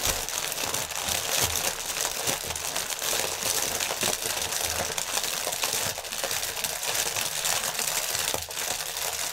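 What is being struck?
Inflated polyethylene air cushion packaging.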